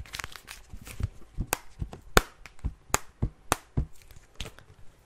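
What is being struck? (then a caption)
Plastic eyeshadow palette case. Long nails rub and scratch across the case surface of a flat black eyeshadow palette. Quiet, irregular scratchy clicks and sharp taps come at an uneven pace, each pairing a brief low thump with a dry, bright crackle that dies away at once.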